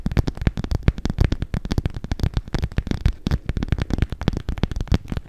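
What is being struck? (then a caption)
Clear PVC cosmetic pouch. Long acrylic nails scratch and tap the film of a soft, hollow clear PVC makeup bag with pink edging, held up in both hands. A dense run of quick, dull crinkly taps and scratches is heard, mostly low and thumpy with very little brightness, each tap dying away almost instantly.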